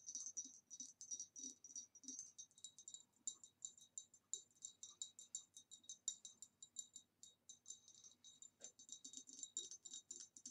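Long nails tap quickly on the sides and rim of an upright, empty, hollow ribbed green retro glass vase. Dozens of quiet, bright clicks come in rapid bursts, each with a thin, high glassy ring that dies away almost at once.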